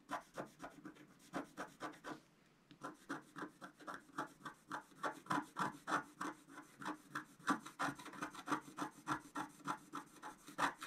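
A wooden stylus scratches across a flat scratch art sheet with a black coating on paper, making about 42 quick, dry, rasping strokes at a steady rhythm. There is a brief pause around two seconds in. The strokes carry a low scratchy tone with brighter hissy edges and stop dead after each pass.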